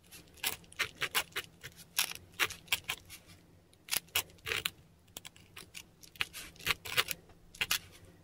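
A metal dip pen nib scratches and drags across a flat, textured Korean paper sheet while writing kana. It produces a quiet, irregular series of short, bright, scratchy strokes with almost no low end. A faint steady low hum sits underneath.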